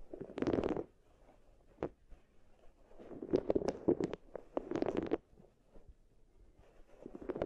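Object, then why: Wooden beads in wooden bowl. Long nails and fingertips rub, press and roll round solid wooden balls against each other and against two small wooden bowls, each holding a furry binaural mic cover. Soft, dense clattering and rolling bursts come in waves around a low-mid tone, with quiet gaps between them and brief bright clicks.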